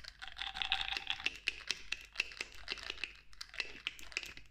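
Long nails tap rapidly and repeatedly on the black pump top of a clear glass cosmetic bottle partly filled with clear liquid. The taps are sharp, bright clicks that die away almost instantly, over a faint ringing tone near 2.7 kHz, with a lower hum near 750 Hz in the first second.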